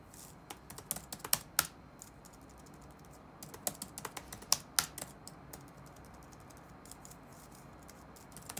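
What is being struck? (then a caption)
Plastic laptop keyboard. Fingertips type rapid taps on the black plastic keys of an open laptop resting on a wooden desk. Short, bright clicks come in irregular bursts, with the busiest runs near the start and in the middle and sparser taps toward the end, all over a low steady background hiss.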